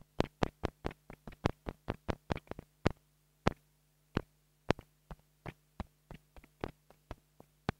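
A small black plastic mini lavalier microphone is tapped with a wooden stick, producing a run of short, dry, clicky knocks with very quick decay, spaced unevenly with a few pauses. A steady low hum sits underneath the taps throughout.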